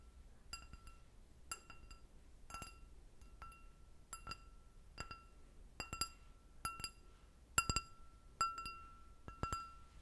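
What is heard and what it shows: An empty clear glass goblet with a short stem is tapped with long red nails, producing a series of irregular, bright clinks. Each tap rings briefly on a clear tone of about 1.4 kHz with high shimmering overtones, and some taps come in quick pairs over a faint low background hum.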